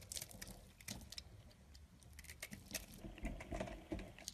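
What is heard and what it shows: A yellow-handled knife scrapes and shaves thin flakes from the surface of a solid tan bar of soap held in the hand. Quiet, irregular bursts of dry, scratchy scraping crackle brightly over a soft low rumble, each stroke fading quickly.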